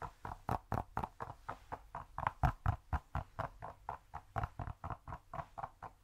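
A cork cube is tapped quickly and steadily, giving 27 short, dull, muffled taps at about four per second. Each tap is soft and low, with a brief knock and almost no ring.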